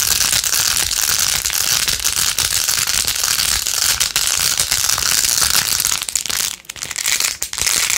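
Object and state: Plastic phone case with pearl beads.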